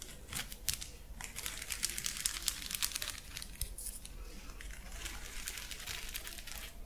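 A hollow, flexible purple plastic lattice fidget toy is scratched and squeezed with long nails close by. The result is dense, bright crinkling and scratchy clicking with quick overlapping ticks that run throughout, plus a faint low rumble underneath.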